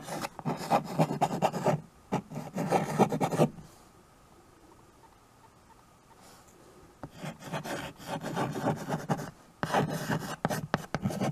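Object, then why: Chalk on a small wood-framed chalkboard. White chalk held in the fingers scratches writing strokes across a small handheld chalkboard with a wooden frame. Dry, raspy scraping comes in bursts of quick strokes for about three and a half seconds, then falls to near silence for a few seconds before the scratching resumes to the end.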